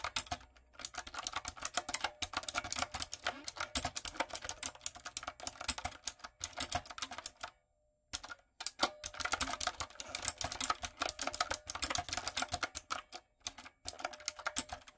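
A typewriter-style retro mechanical keyboard with round plastic keycaps and lights is typed on with fingertips and long nails. Rapid, bright, clicky keystrokes come in dense bursts, with a brief silent pause near the middle.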